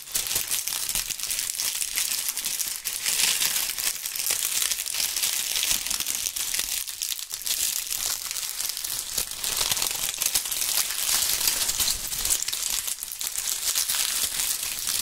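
Handfuls of dry brown and pink autumn leaves, held in both gloved hands in front of binaural microphones, are crumpled and crushed with the fingertips. A steady, dense crinkling and crunching fills the whole clip, almost all of it high and bright with very little low end.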